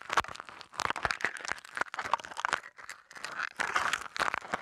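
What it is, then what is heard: Aluminium foil being crumpled. Thin aluminium foil wrapped around a small mini microphone is crumpled and crinkled with fingertips, close up. Dense bursts of sharp, papery crackling come in uneven waves with brief near-silent gaps, centered in the midrange with bright, crisp edges and almost no low end.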